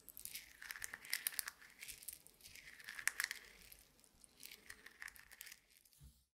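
A handful of small, solid, dry roasted coffee beans held in a closed fist is squeezed and rubbed together by the fingers and palm. It makes quiet, bright, dry crackling and gritty rustling that rises and falls in three waves, with almost no low end. A faint low bump comes just before it stops.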